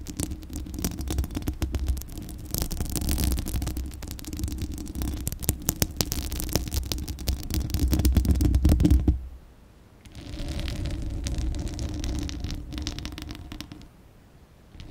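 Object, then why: Steel mesh microphone grille. Long acrylic nails scratch the bare, hollow steel mesh grille of a large condenser microphone, producing a dense, rapid scratching with a heavy low rumble. The scratching pauses briefly just after nine seconds, then resumes more softly before fading near the end.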